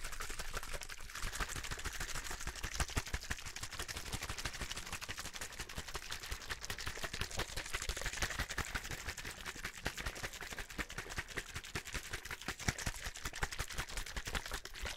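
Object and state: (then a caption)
Plastic water bottle. Fingertips tap and scratch the sides of a hollow, clear plastic drinking bottle held beside the mic. A dense, steady stream of quick, dry clicks and scratchy rustling, bright on top with a low thump under each tap, runs through the whole clip without letting up.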